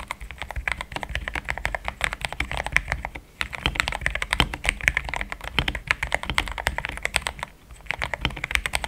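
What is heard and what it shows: Fingertips of both hands type steadily on a compact pink-and-cream plastic mechanical keyboard with thick XDA-profile keycaps, Gateron Yellow switches and a polycarbonate plate, resting on a desk mat. Dense, quick keystrokes give short, bright clacks with a soft low thud beneath, pausing briefly near 3.4 seconds and again near 7.6 seconds.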